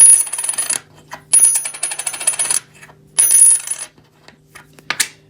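A 90% silver US quarter, a bit bigger than the other coins, is dropped three times in a drop test. Each drop gives a bright, high-pitched ring with rapid rattling bounces as it settles, followed by a brief final clink.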